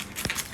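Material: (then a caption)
Phyllo pastry. A baked galatopita, a Greek milk pie with a phyllo crust, is cut or pressed, giving three short, dry, bright crunches over a faint crackling. The crunch is crisp even in the center of the pie, showing it is properly baked through and a success.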